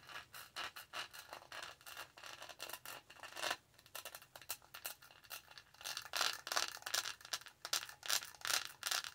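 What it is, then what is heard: Plastic studded tumbler. Long nails scratch the textured lid of a tall, black, hollow plastic tumbler, then move to its studded sides. The result is a quiet run of short, dry, bright scraping strokes in an uneven rhythm, with almost no low end.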